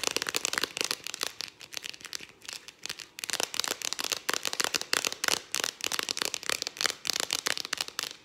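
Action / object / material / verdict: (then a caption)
tap / aluminium aerosol can with plastic cap / aluminium, plastic / none. Long dark acrylic nails tap fast on the ribbed purple plastic cap and aluminium body of a Farmdale whipped cream aerosol can held close. The result is a rapid, dense stream of dry, bright, clicky taps with no ring and almost no low end, pausing briefly a few times.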